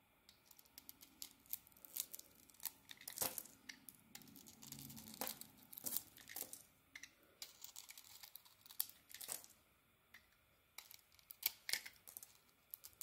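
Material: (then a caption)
Soap. A solid rectangular brown bar of Alterra soap with a pink striped coating and a pink core, held in the palm, is shaved with a metal box-cutter blade, scraping off curls. The result is a quiet run of dry, crisp scrapes and crackling, tearing-like strokes, bright and short, with no ring after each cut.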